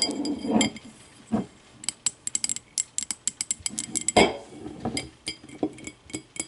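Long matte navy nails tap and scratch the sides of a small, empty, clear glass whiskey tumbler with a thick base, standing upright on a wooden table and tilted at the end. Quick, bright glassy clinks with short rings are broken up by louder, rougher scratching swells.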